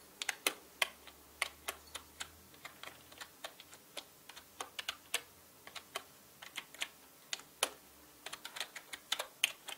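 Fingertips type quickly on a full-size black mechanical keyboard with plastic keycaps, producing about 36 sharp, bright clicks at an uneven pace. Each keystroke is a crisp, dry tap that dies away almost instantly against a quiet background.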